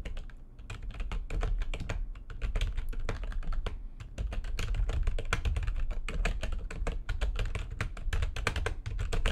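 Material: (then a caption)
Plastic. Fast typing with long nails and fingertips on a full-size plastic backlit computer keyboard produces a rapid, continuous stream of sharp, bright clicks and taps. The clacks sit over a steady low rumble that dominates the overall sound.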